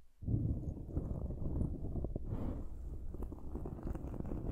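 Long nails scratch a dark foam windscreen on a silver microphone. After a brief quiet start, a dense, muffled scraping rumble sets in and continues steadily, deep and boomy with almost no high content, dotted with soft crackling pops.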